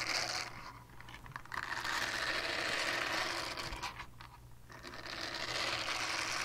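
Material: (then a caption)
Silicone. Long painted nails scratch a small, flat, solid purple silicone scrubber pad with a bristle texture, held upright. The result is a dense, bright, rustling scrape that swells and fades, with quieter dips near the first second and again around four seconds.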